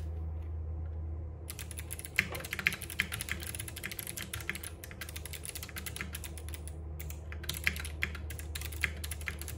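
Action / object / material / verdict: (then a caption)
tap / mechanical keyboard with plastic keycaps / plastic / none. Both hands type continuously with the fingertips on a compact RGB-backlit mechanical keyboard with plastic keycaps and clicky Box Jade switches, resting on a wooden desk. After about a second and a half of low, steady hum, a rapid stream of bright, sharp clicks begins, with a brief pause near the seventh second. The hum continues underneath the typing throughout.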